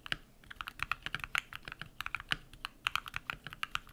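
Bare fingertips type rapidly on a compact modded mechanical keyboard with lubed switches and white PBT plastic keycaps. A quick stream of short, crisp clacks with bright tops around 3 kHz, each dying away almost instantly with little low end.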